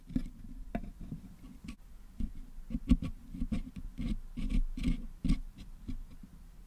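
Two wooden toothpicks scrape and pick at the metal mesh grille of a Blue Yeti microphone head, working at putty packed into its holes to clean it out. Close, low, dull scratching and soft tapping are heard, with short, quick-decaying clicks scattered throughout.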